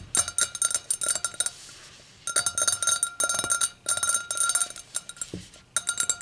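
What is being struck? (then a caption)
Stemmed glass. Long acrylic nails tap and click on an empty, clear, stemmed hurricane glass resting on a towel, striking both its hollow, thin-walled bowl and its foot. Rapid bursts of bright, glassy clinks with short ringing tones come in clusters, separated by brief quiet pauses.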